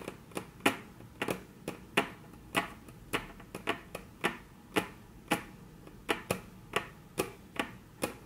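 Very long natural nails tap 20 times on a flat, solid, dark brown wood-grain tabletop in an uneven rhythm. Each tap is a short, dry click with a bright edge and almost no ring, over a soft, quiet background.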